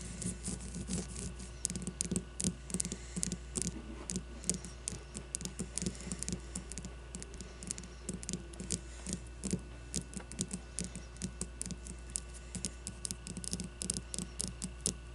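Long nails tap and scratch all over the cover of a solid white leather baseball with a printed logo. Many rapid, dry clicks and short scratchy strokes with bright edges sound over a steady low hum.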